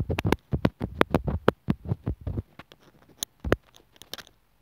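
A steel sewing needle scratches along the edge of a small white plastic inline mic and remote on an earphone cable, then taps near the mic hole on its hollow housing. The result is a quick series of short, dry clicks and scrapes with boomy, low-heavy thumps and brief bright ticks. Each one stops almost instantly, and the sounds grow sparser toward the end.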